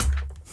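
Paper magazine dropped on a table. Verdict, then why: Heavy. A copy of Polka magazine, a 30,000-copy issue printed on very fine, thick paper, is dropped and lands with a single heavy, low thud. The impact is deep and boomy, with a short rumbling tail that fades within about a quarter second, conveying the weight and quality of the paper.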